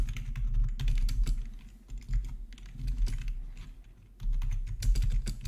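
Both hands type with their fingertips on a plastic RGB membrane keyboard with black plastic backlit keycaps, resting on a marble surface. A steady stream of short, soft plastic clacks forms a rapid patter over a low, thick thud. The typing comes in louder bursts near the start and end, with quieter stretches between.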